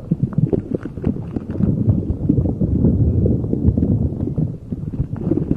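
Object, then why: Spiky rubber puffer ball. A soft, squishy neon-yellow spiky rubber puffer ball is squeezed and rubbed with the fingers and palms. The result is a continuous run of dull, low, muffled squishing and rubbing sounds with quick, closely packed squeaks and no bright edge.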